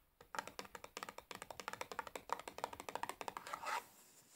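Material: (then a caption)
Cardboard. A large, closed cardboard matchbox full of matches is held in the hands while long nails tap and scratch its sides and top. About 28 quick, dry taps follow one another in a steady, uneven patter, each short and papery with a bright, clicky edge. It ends in a brief scratchy rub that fades to quiet.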